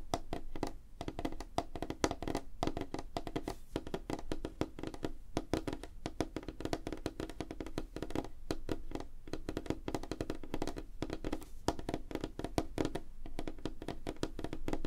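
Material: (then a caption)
Wood. Both hands tap rapidly on a large, flat, solid light-wood tabletop with fingertips and short nails. The result is a dense, continuous stream of short, dry wooden knocks with a mid pitch near 316 Hz and a weighty low body. There is little brightness, and each tap dies away almost instantly.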